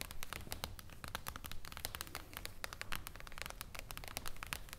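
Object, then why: Glass tabletop panel. Long blue acrylic nails tap rapidly on a thin, solid, flat, reflective glass sheet resting on a wooden table. The taps are sharp, bright clicks in a quick, uneven stream with almost no ring after each one, over a steady low rumble.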